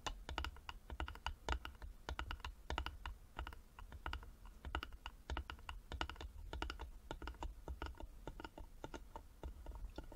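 Fingertips and nails tap rapidly on the sides of a small, closed, hollow carved wooden jewelry box with a metal medallion and clasp. The result is a quiet, steady stream of short, irregular clicks, each with a low hollow thump beneath a brief bright tick that dies away almost at once.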